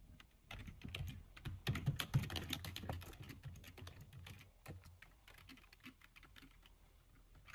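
Both hands type quickly with their fingertips on the plastic keys of a full-size black plastic computer keyboard. The result is a rapid, uneven stream of short, bright clicks over soft low thumps. The typing is busiest and loudest in the first half, then settles into lighter, sparser taps.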